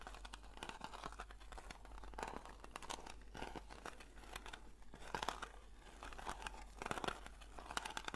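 Long nails scratch the lid and side rim of a round blue metal Nivea cream tin. The result is a quiet, continuous stream of dense, crinkly scratching with short bright rasps and a papery, tearing texture. A steady low hum runs underneath throughout.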